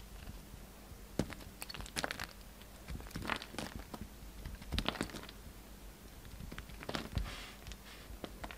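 A hand-held, hand-sized solid pink-and-white bar of soap is carved into flakes with the steel blade of a yellow utility knife. Quiet, crisp scraping and crunchy crackling cuts come in irregular bursts over a faint steady low hum, each stroke ending short and dry.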